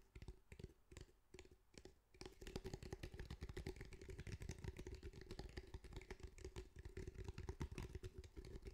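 Quick fingertip tapping on the fabric surface of a grey, fabric-covered cylindrical speaker with a hard, hollow body makes soft, dull, low thuds. A few spaced taps give way after about two seconds to a fast, steady, slightly louder flurry of tapping, with a faint constant low tone running underneath.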